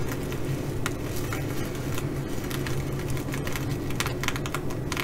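Fingernails of one hand scratch and tap the sequins on a blue reversible flip-sequin fabric bag. Quick, irregular clicks and scratchy ticks come in a dense stream with bright crisp edges. Underneath sits a steady low hum.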